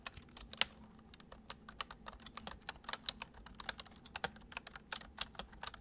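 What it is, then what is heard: Plastic computer keyboard being typed on. Fingertips of both hands type fast on a full-size white plastic computer keyboard with hollow keys resting on a wooden desk. About thirty quick, bright, clicky key taps patter in an uneven rhythm, each dying out almost instantly, over a faint steady low hum.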